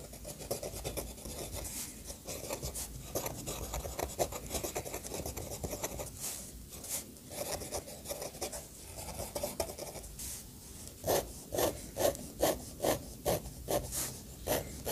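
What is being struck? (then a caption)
Steel pen nib on thick paper page. The steel nib of an orange fountain pen scratches across a thick paper page in a bound sketchbook, drawing strokes and hatching. A steady dry rasp with a bright edge runs throughout, ending in a run of sharper, louder, evenly spaced strokes.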